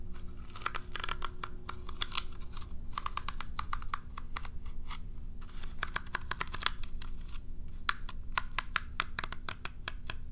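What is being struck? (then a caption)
Plastic groomer brush with dense plastic bristles. Long nails scratch and flick the dense plastic bristles of a curved plastic cat self-groomer brush held upright. The result is a rapid, irregular stream of sharp, bright plastic clicks and ticks in quick flurries, each dying away at once, over a steady low hum.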